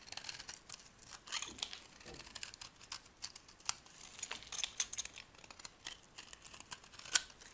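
A metal blade carves and scrapes a solid, dry, soft white oval bar of soap. Crisp, bright scraping and crumbly crackles come in quick, uneven strokes with almost no low end, and each flake breaks off sharply with no ring.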